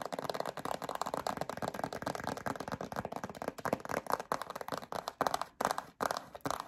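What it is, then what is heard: Plastic hand cream tube. Long acrylic nails scratch a yellow plastic hand cream tube with a black cap. The result is a dense, continuous run of crisp, rasping scratches centered in the midrange, with little low or high content. Toward the end the scratching breaks into a few short bursts separated by brief pauses.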